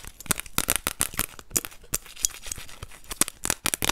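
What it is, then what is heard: Plastic card. A thin orange plastic card is held in both hands while long nails scratch and tap its surface and edge. The result is a quick, irregular run of sharp, bright clicks and crisp scratches, each dying away almost instantly.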